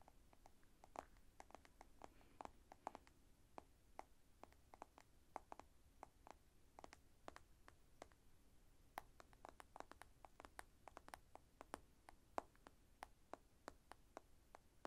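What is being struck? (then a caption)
Smartphone glass screen. Long painted nails tap and scratch on the glossy glass screen of a black smartphone with a metal edge, held in one hand. A quiet, steady stream of many crisp, dry clicks with almost no ring sits over a faint low background hiss.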